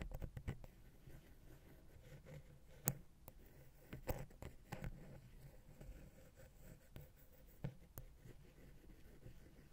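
A wooden ear pick scratches the small, hollow, silver metal XY microphone capsule housing on a Zoom H6. The result is a quiet, low, rumbling scrape broken by several sharp, bright ticks and clicks that die away almost instantly.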